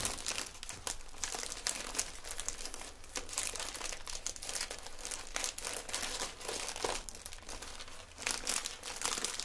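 A small clear plastic cellophane gift bag with a small item inside is held at the neck with both hands while fingertips crinkle and twist the thin plastic and a gold ribbon is tied around it. The clip is a continuous, bright, dense crinkling with many quick crackles and a few louder bursts. It has a low steady hum underneath throughout.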